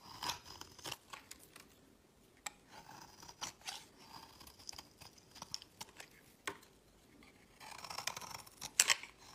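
A utility knife blade scrapes shavings off the edge of a solid white embossed bar of soap, palm-sized and held in the hand. Quiet, dry, bright scraping and crisp shaving strokes come in irregular short bursts with almost no low end and no ring. A denser, louder stretch of scraping builds near the end.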